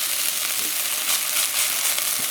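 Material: Nothing is struck.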